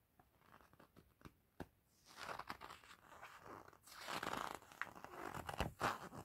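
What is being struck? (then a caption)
Coated paper pamphlet. A white-gloved hand resting on an open softcover exhibition pamphlet turns its coated paper pages while the other hand lifts them. The clip opens with quiet, sparse paper ticks and small crinkles, then moves into louder swelling rustles and page-rubbing swishes. Sharp flips snap out near the end, and the fabric of the glove may add a faint soft rustle.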